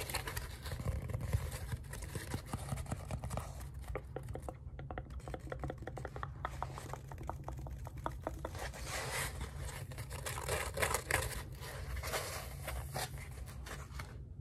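Fingertips and nails tap and scratch the surface of a long lime-green polyethylene foam pool noodle, held in both hands with its hollow core visible at one end. Rapid soft, dry taps and scratchy rubs patter continuously at a low level over a steady low rumble, with a brief lull near the five-second mark before the scratching picks up again.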